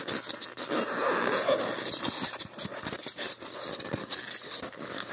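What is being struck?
Expanded polystyrene block.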